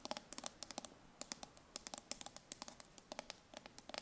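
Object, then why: Steel food can, ridged bottom. Long nails tap and scratch the ridged metal bottom of a full steel tin can held on its side. About 26 quick, bright clicks ring out in an uneven patter, each dying almost at once with little low end. The result is a quiet, crisp, dry tapping.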